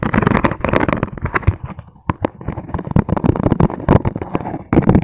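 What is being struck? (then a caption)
Ribbed plastic food container. A transparent, ribbed, hollow and empty plastic food container is held close while fingertips and nails tap and scratch quickly along its ridged sides. The result is a dense, rapid stream of hollow clicks and scratchy rasps with a low body, briefly thinning to a few sharp taps midway before the fast tapping resumes.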